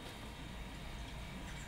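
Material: Nothing is struck.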